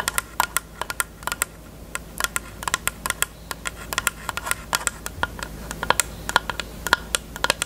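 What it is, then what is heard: Plastic case tapped with fingernails. Long nails tap quickly on a closed, hollow, pink hard plastic rectangular case with a cherry print, making about forty sharp, clicky taps. Each tap is bright and hollow-sounding, with a resonance around 1.4 kHz, and dies away almost instantly over a faint, steady low hum.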